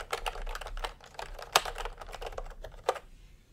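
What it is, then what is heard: Plastic keyboard being typed on. Fingertips type sparse, irregular taps on a full-size plastic typewriter-style computer keyboard with round retro keycaps in peach and cream, lying on a white cloth. The result is short, dry plastic clicks centered in the midrange, with a few sharper, louder clacks standing out from the softer keystrokes.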